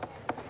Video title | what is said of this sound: Angkor redécouvert (documentaire HD) | ça sonne creux en fait on sent très bien qu'il y a la couche supérieure du Gret qui s'est soulevé